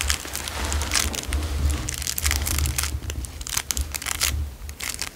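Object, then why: Clear cellophane wrapper. A narrow clear cellophane wrapper is twisted and crunched between fingers, giving a dense, continuous crinkling with bright, sharp crackles throughout. A steady low rumble runs underneath the crackling.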